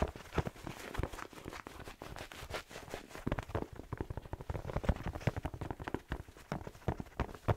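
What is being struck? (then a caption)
Fleece-lined slipper with rubber sole. A black and red plaid slipper with fleece lining and a rubber sole is held hollow in the hand while fingertips tap the sole rapidly. The result is a fast, continuous patter of short, dull, low thuds with very little brightness.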